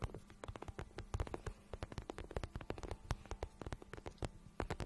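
A glossy pink patent vinyl boot, hollow and empty, is held in both hands while long nails and fingertips tap and rub its shiny surface. Quick, irregular soft taps and clicks come in dense clusters, with dull low thumps and faint rubbing between them. Each tap dies away almost instantly over a quiet background.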